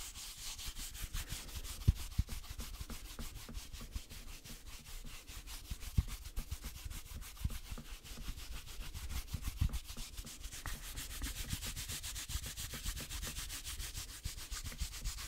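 Fingertips rub back and forth over a velvety green flocked reindeer decoration with antlers, held in the other hand. The result is a soft, steady, rapid scratchy brushing with a bright airy hiss over a low muffled rumble, and a few slightly louder scuffs stand out from the quiet texture.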